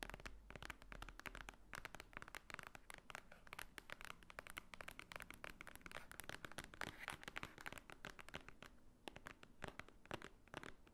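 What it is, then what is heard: Thick paper book. Long nails tap and scratch rapidly on the top cover of a large, thick, white-edged paper book lying flat. A quiet, steady stream of dry, crisp clicks and scratchy rustles continues for the whole clip, each sound cutting off almost at once.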